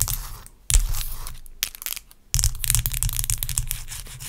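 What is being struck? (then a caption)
Block of ice. A large solid block of ice resting on a towel is scratched and rubbed with long acrylic nails. Gritty, crackling scrapes come in bursts with short pauses between them, and the bursts carry a low rumble beneath crisp high-frequency grit. Each scratch ends quickly with almost no ring.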